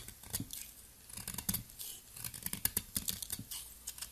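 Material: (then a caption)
Soap. A metal box-cutter blade scrapes thin, powdery shavings off the surface of a solid, round, fist-sized turquoise soap ball held in the fingertips. The result is a quiet run of short, crisp, dry scraping strokes, bright and hissy up high with a soft low thump under some strokes, each ending almost instantly.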